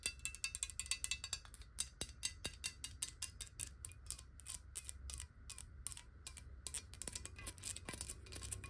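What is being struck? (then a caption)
Glass bottle with water. Long nails tap rapidly on a clear, square glass bottle of water held tilted, striking near the base and along the edges. The taps are quick, bright, dry clicks that die away almost at once, with a steady low hum underneath.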